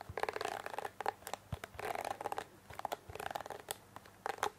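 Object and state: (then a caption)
Plastic hairbrush. Long fingernails scratch and flick across the plastic bristles of a pink plastic hairbrush held close to the microphone. Quiet bursts of rapid, dry, scratchy clicking centred in the mid range alternate with single bright flicks and short pauses, and each click dies away almost instantly.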